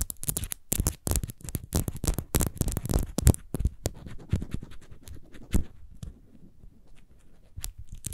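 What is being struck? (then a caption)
Faceted glass bottle. Long nails scratch quickly across a small, hollow, clear glass rose bottle with a faceted diamond-pattern surface, held sideways in the hands. The result is a fast, irregular run of short, dry scratching bursts with a low, thumpy body and bright crackle on top. The bursts are dense for the first four seconds, then thin out into sparser, quieter strokes.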